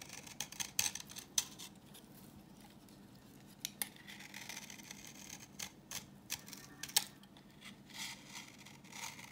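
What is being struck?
Bar of soap scraped with a knife blade.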